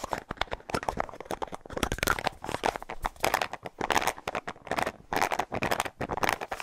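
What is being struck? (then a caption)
Plastic deodorant stick with cap. A small, hollow white plastic deodorant stick with a light blue plastic cap is held close to the microphone and rapidly tapped and scratched with fingernails. The result is a dense, fast stream of dry clicks and crinkly scratching bursts, centered in the midrange with bright edges and no ring after each hit.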